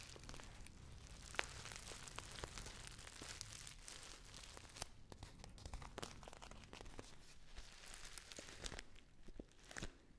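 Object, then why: Filled foil tea pouch. A hand-sized, filled Dammann foil tea pouch is crinkled in the hands with long nails. A steady stream of bright, crackly crinkles is punctuated by sharp snaps and a faint low hum underneath.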